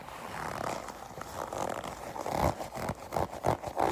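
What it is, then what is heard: Leather jacket. A black smooth leather jacket of thin, flexible material is gripped, squeezed and scratched by long pink acrylic nails. Soft creaking and scraping rustles build into a series of short, muffled squeaks and crinkles, strongest around the low-mid range.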